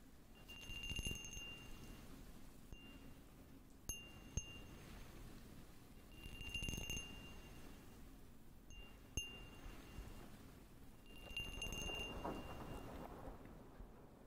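Fingernails tap a small, hollow, empty clear glass cup with a textured pattern, close to the mic. Clusters of quick, light taps bring out bright, chime-like ringing tones that fade fast, with a few sharper isolated clicks in between, over a soft low rumble.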